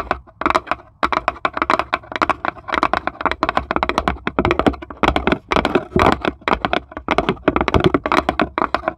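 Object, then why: Plywood serving tray tapped with fingernails. Long stiletto nails of both hands tap rapidly on the flat base of a small, empty plywood serving tray with handle cut-outs, while a marble sits unmoving in its corner. The result is dense bursts of short, dry, clicking taps that stop dead with almost no ring, broken by brief pauses.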